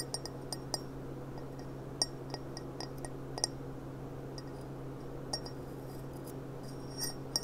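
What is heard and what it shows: Long dark nails tap the bowl and stem of an upright, clear, empty stemmed glass goblet with a gilt rim, producing a scattered series of light, bright clinks. Each chime is short and high-pitched over a quiet, steady low hum.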